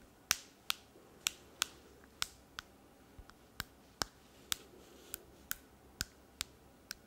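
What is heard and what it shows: Long painted fingernails tap and click on a handheld smartphone in a rose-colored case held in one hand. About fourteen sharp, separate, bright clicks come at an uneven pace, each dying away almost instantly over a quiet background.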